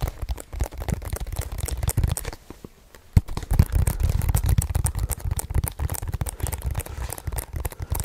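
A hollow hard plastic DVD or game case with a printed cover insert, held in both hands in front of the microphone, is tapped and scratched quickly with fingertips and nails. The sound is a dense, fast run of dull, low-heavy taps and crinkly scratching, with a short quieter gap near the middle broken by one sharp, louder tap before the rapid tapping resumes.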